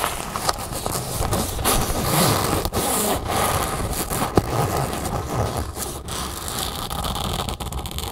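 Long nails scratch and tap the flat fabric of an empty red nylon drawstring bag lying on a table, then pinch and scratch its folded edge. A steady, dense, bright scratching rasp runs throughout, broken by a few sharp, brief taps.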